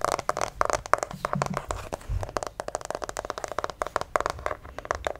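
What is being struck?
Plastic acupuncture figure.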